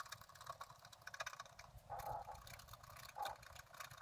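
A wooden stylus scratches the upper branches into a thin, flat sheet of scratch art paper. The result is a quiet, dry, broadband scraping made of many short strokes. Two longer strokes, around 2 and 3.2 seconds, carry a brief tonal squeak near 800 Hz.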